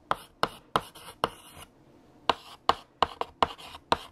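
A hand writes with lavender chalk on a large flat black chalkboard, the chalk scratching across the surface. Eleven sharp taps and short scrapes come in uneven bursts, with a brief pause in the middle. The sound is dry and bright, with almost no ring.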